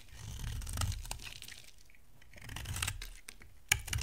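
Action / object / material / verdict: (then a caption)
scrape / bar of soap shaved with a blade / soap / none. A solid white rectangular bar of dry soap, held in the hand, is shaved with a box-cutter blade. Dry, crisp scraping and carving strokes with a bright crackle sit over a soft low rumble, ending in a sharp click near the end. Flakes of soap come off as the blade carves.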